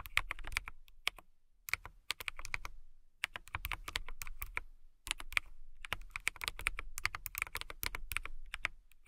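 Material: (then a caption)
Acrylic plastic. A compact transparent acrylic mechanical keyboard, with clear plastic keycaps and a clear case, is typed on with long nails and fingertips. Quick bursts of sharp, bright clacking keystrokes with a low thump underneath are separated by short pauses. Each stroke cuts off almost instantly.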